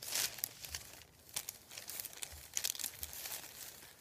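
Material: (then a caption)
Paper. Fingertips with nails rub and crinkle a thin, flat sheet of printed white paper lying on a wooden table. Soft, bright crackles and rustles come in uneven bursts, with almost no low end and only brief gaps of quiet between them.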